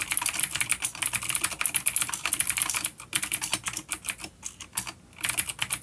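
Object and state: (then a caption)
Vintage clicky mechanical keyboard. A full-size dark plastic vintage mechanical keyboard with clicky blue switches and grey keycaps, resting on a wooden desk, is typed on with the fingertips of both hands. A rapid, steady stream of sharp, bright clicks fills the clip, with a few brief pauses near the three- and five-second marks. Each keystroke snaps off quickly with almost no low end.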